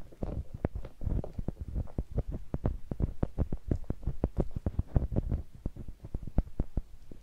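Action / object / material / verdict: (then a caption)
scrape / rubber spiky massage ball / rubber / none. A palm-sized, clear translucent rubber spiky massage ball, likely hollow, is held in one hand while its spikes are rubbed and scratched against a small handheld microphone. A rapid, uneven stream of short, deep thumps and scratchy taps follows, heavy in the low end with brief bright clicks on top, throbbing almost like a muffled heartbeat.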